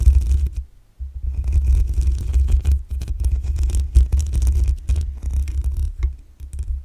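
Long acrylic nails scratch the black metal mesh grille on the hollow head of a desktop condenser microphone. The result is a dense, rough scraping with a heavy, booming low rumble and faint bright hiss. It pauses briefly near the one-second mark, then continues in uneven bursts.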